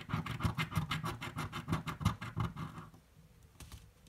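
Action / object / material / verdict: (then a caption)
scrape / coin on thin paper-card scratch ticket / paper card / none. A coin scratches the coating off a green, thin-card paper scratch-off lottery ticket lying on a table, making a quick, steady run of short, dry rasping strokes. The scratching stops near the three-second mark, followed by a few faint, scattered scrapes.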